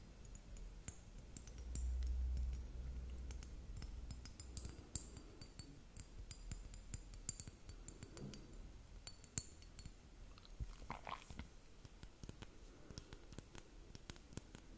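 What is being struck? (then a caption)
Plastic liquid glitter hourglass timer. A hollow, partly filled purple plastic liquid-glitter hourglass timer, held in both hands, is tapped and clicked with long nails. Quick, sharp, bright clicks and light clinks come in an uneven stream throughout, over a soft low rumble that swells briefly near the start.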